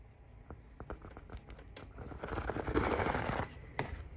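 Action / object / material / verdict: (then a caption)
scrape / pleated fabric window shade / fabric / none. Fingertips and nails tap and scratch across a large, thin, hollow-celled pleated (cellular) fabric or paper window blind that is lit from behind. Light, separate taps give way to a dense, papery scratching that builds and peaks around the third second, then drops off, with one last sharp tap near the end.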